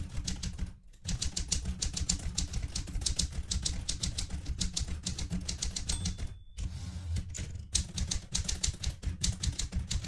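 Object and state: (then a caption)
Metal manual typewriter. Fingertips with long red-painted nails type steadily on a vintage Smith-Corona Galaxie Twelve manual typewriter, which has a mostly metal body, plastic keys and paper loaded. A dense run of crisp, bright key presses and type-bar strikes rides over a steady low rumble, with brief pauses near the 1- and 6.5-second marks. A short high ringing tone sounds just before the second pause.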